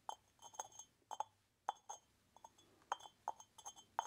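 A small, hollow, unglazed orange terracotta pot with a lid and side holes is tapped rapidly with fingertips while its clay lid rattles on the rim. The result is a quick string of dry, hollow clinks with a mid-pitched tone, bright overtones and very short ring. The clinks come in uneven bursts with brief quiet gaps.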